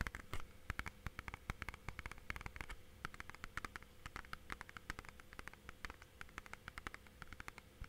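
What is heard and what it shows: Fingertips tap along the spine and edges of a clear, hollow plastic DVD or game case held edge-on in both hands. Quick, quiet, dry clicks come in a rapid, uneven patter with no ring. A faint low steady hum runs underneath.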